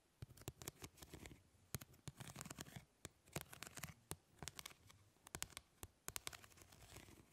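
Long nails scratch across the plastic grid mesh of a fly swatter, making quick, dry, bright scratching clicks. The bursts come in irregular clusters with brief pauses and almost no ring after each stroke.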